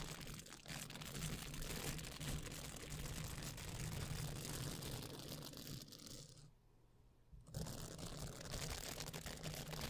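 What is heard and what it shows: A small pink soft silicone face-cleansing pad with nubs is held just above a microphone and bent and scratched with long painted nails and fingertips, possibly with some handling noise. The result is a steady, dense crinkly scratching across low and bright ranges over a low hum. The sound drops out briefly near the seventh second before resuming.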